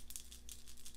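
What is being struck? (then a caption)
Plastic pill bottle with a small kidney stone inside. A calcium oxalate kidney stone, confirmed by lab analysis, is shaken inside a plastic pill bottle. It rattles in a quick run of light, bright clicks against a low steady background hum.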